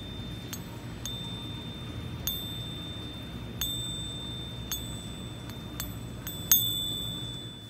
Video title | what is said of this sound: A FAKE GOLD BUFFALO HOW TO SPOT IT and How We Know for Sure! | not that uh a bell-like ring but kind of a more like a dull thud